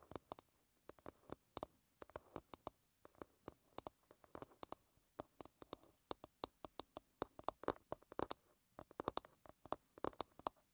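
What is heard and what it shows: Long red nails tap and scratch the flat wooden back of an oval hairbrush lying bristles-down. Dozens of quiet, dry, quick taps come in uneven bursts, each with a woody midrange click and almost no ring, interspersed with faint scratching.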